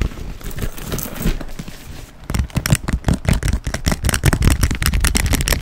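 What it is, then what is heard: Quilted leather handbag. Fingernails tap on the quilted surface of a black quilted leather handbag held close to the mic. A soft, scratchy rustle gives way after about two seconds to quick, uneven, close-up taps with a dull, low thud.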